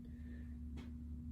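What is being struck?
Nothing is struck.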